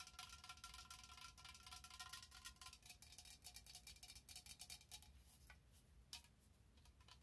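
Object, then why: Plastic spray bottle. Long nails tap and scratch a tall orange plastic body-mist bottle with a cream cap, held in both hands. Quick, bright, dry clicks and scraping come in an uneven stream, with a faint tonal ring under the first few seconds and a low hum throughout. One sharper tap stands out near the end.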